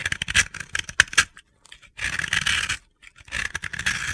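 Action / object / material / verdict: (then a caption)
scrape / soap block scraped with a metal blade / soap / none. A metal utility-knife blade scrapes across a round, white, solid dry soap block held in the hand, shaving powdery flakes off its surface. Bright, gritty, crunchy scraping comes in three bursts separated by brief silences, with sharp clicks in the first burst. Each stroke stops dead with no ring.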